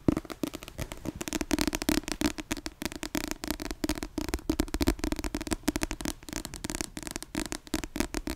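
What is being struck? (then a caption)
Paperback book with glossy cover. Long yellow-painted nails scratch and tap across the back cover of a dark, glossy-covered paperback book held in both hands. A fast, dense stream of dry crackling taps and scrapes runs throughout, each click short and sharp, over a steady low tonal band around 300 Hz.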